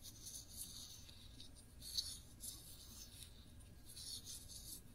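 A small glass jar full of cranberry jam, held sideways, is scratched by long nails across the glass and its ridged black metal lid. The result is a quiet, bright, raspy scratching that comes in uneven bursts over a low, steady rumble.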